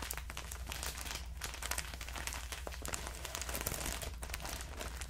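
A clear plastic bag full of cotton rounds is crinkled and squeezed with the fingers close to the ear. A steady stream of dense, bright crinkling and crackling runs throughout, over a low, constant hum.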